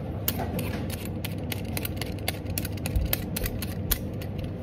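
A metal-bladed vegetable peeler repeatedly scrapes strips off the surface of a whole, solid raw orange carrot held in the hand. Each stroke gives a short, bright, crisp scrape over a steady low rumble, with the quick strokes following one another evenly throughout.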